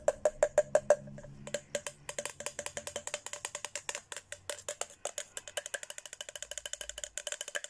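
A thin red plastic straw taps rapidly on the rim and sides of an empty, hollow pink Hello Kitty plastic tumbler. Around fifty short, dry clicks sound in quick succession, each with a brief hollow tone near 590 Hz that dies away almost at once. The first six taps are louder and evenly spaced, and a faster, softer, uneven run follows.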